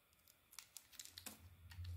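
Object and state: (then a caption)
Bar of soap being carved. A small metal blade carves a solid tan bar of soap, cutting away chunks and curls. Eight quick, bright, crisp scraping cuts snap and stop almost instantly. A low rumble swells underneath toward the end.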